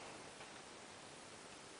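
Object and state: Nothing is struck.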